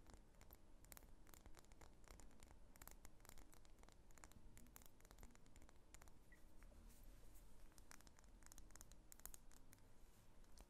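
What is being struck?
Wax pillar candle.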